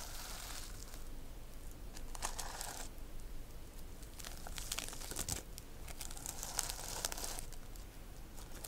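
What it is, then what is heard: Sequin-covered notebook. Long nails stroke and scratch across a reversible plastic sequin notebook cover, flipping the sequins' colors. The result is a steady run of bright, crinkly scratching and rustling, with brief sharper clicks as the sequins flip, over a quiet low background rumble.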